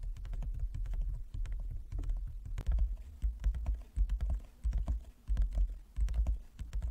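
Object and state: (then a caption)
Wooden chess board. A large, flat, inlaid wooden chess board is tapped by the fingertips and long nails of both hands. The result is a quick, uneven patter of short, dull, low knocks with faint sharp clicks that die away almost instantly.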